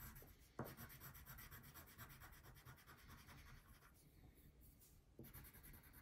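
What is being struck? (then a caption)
Wax crayon on a paper sheet. A brown wax crayon is rubbed in small, quick strokes over the basket area of a thin printed paper coloring page lying flat on a table. The result is a quiet, steady, papery rasp with a rhythmic back-and-forth texture. Two firmer touches, near the start and again near the end, stand out from the softer strokes.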